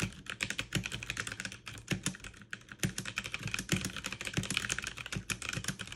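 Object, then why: Mechanical keyboard with plastic keycaps. Fast two-handed typing with fingertips and long nails on a backlit mechanical keyboard with plastic keycaps. A dense, steady stream of quick, dry clicks and clacks sounds bright around 2.5 kHz, with a low thud beneath each keystroke. Each click stops almost instantly.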